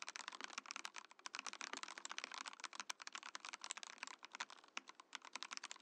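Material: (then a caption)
Plastic. A compact Mojo68 Mojopad mechanical keyboard in a transparent acrylic case with cream and orange plastic keycaps is typed on with the fingertips of both hands. It makes a rapid, steady run of short, bright, clicky keystrokes with no low end, each clack dying away almost instantly.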